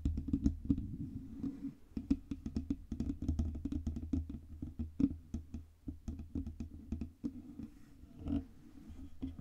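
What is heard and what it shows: Long red nails tap rapidly and unevenly on the sides and front of a black Blue Yeti USB microphone with a hollow metal body. The clicks are dull and woody, with a low, boomy thump beneath each one. Every tap dies away almost instantly, and faint scratchy rustles fill the gaps between bursts.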